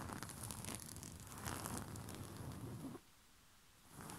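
Short fingernails of both hands scratch a white rose-print cotton bed sheet, making a dense, steady scratchy rustle with a bright crinkly hiss over a soft low rumble. The scratching stops abruptly at about three seconds, leaving near silence, then resumes faintly just before the end.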